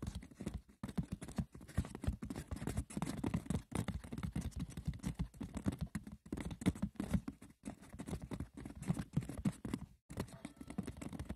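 Fingers rub roughly across and tap the textured, woven surface of a wicker basket. The result is a dense, continuous patter of light, dry clicks and scratchy rustles, weighted toward a low body. The sound breaks off in a few brief silent gaps.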